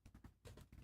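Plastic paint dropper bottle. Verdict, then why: Nearly empty. A plastic Monster Brown paint dropper bottle, nearly empty, is shaken to prep it for dry brushing. It makes a quick series of soft, dull, low rattling knocks with almost no bright content. The sound is hollow and thin, suggesting little paint left inside, and the bottle is confirmed almost empty.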